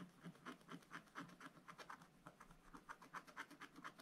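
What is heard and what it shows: A wooden stylus scratches quick back-and-forth fill strokes into the black coating of a scratch-art book page, working on a bunny figure. The result is a soft, rhythmic series of dry, raspy scratches, about two per second, each a short bright burst centered around 1.5 kHz with a faint low thump beneath.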